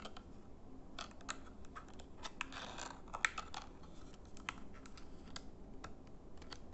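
Fingernails tap the plastic casing of a small plastic LED IR remote control, front and back, and press its rubber buttons. The result is a quiet run of quick, dry clicks and taps with sharp, bright edges that die away almost instantly, over a soft low background hum.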